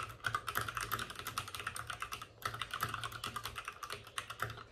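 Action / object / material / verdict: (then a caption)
tap / plastic mechanical computer keyboard / plastic / none. Both hands rapidly tap with their fingertips on the plastic keycaps of a white, backlit RGB mechanical computer keyboard that sits on a desk with a padded wrist rest. The result is a dense stream of crisp, short clicks and clacks with a bright, hollow plastic tone. The typing briefly pauses just before the midpoint, then resumes at the same fast pace.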